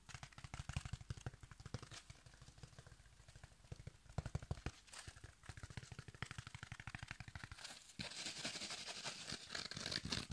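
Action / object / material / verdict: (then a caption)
scrape / foam kitchen sponge with scouring pad / foam / none. A yellow foam kitchen sponge with a green scouring pad is held in one hand while fingertips and nails rapidly tap and scratch the foam and the pad. Quick, uneven taps produce soft low thumps layered with dry, crinkly, bright scratching. Near the end, the tapping gives way to denser, almost continuous scraping.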